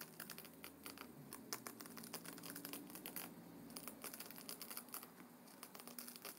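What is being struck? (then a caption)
Paper page block of a hardcover book. Fingernails of both hands rapidly scratch and flick the stacked paper page edges of a closed, thick hardcover book with a dark blue cover. The result is a quiet, dense stream of crisp, bright ticks and dry scratching with very short decay, over a faint low hum.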